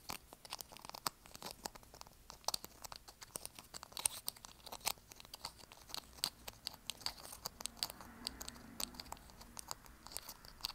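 A small, partly used squeezable plastic lotion tube with a gold cap is held in both hands and squeezed, crinkled and rubbed with the fingertips and thumbs. It makes a quiet, dense stream of sharp, bright crinkling clicks and crackles that stop dead, over a soft papery rustle.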